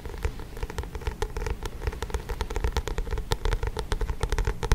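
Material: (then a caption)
Card. Fingertips and nails tap and scratch the glossy card front cover of a paperback book held close to the mic. A dense, steady stream of quick, dry taps and crackly scratches with a strong low thump close to the mic, each sound dying away almost instantly.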